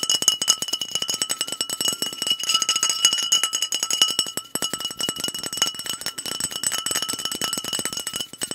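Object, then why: Filled glass soda bottle. Fingernails tap quickly and hard on a liquid-filled Clearly Canadian glass bottle with a blue cap. The result is a rapid, continuous stream of sharp, bright clicks over steady glassy ringing tones that fall silent almost instantly after each tap, with no low end.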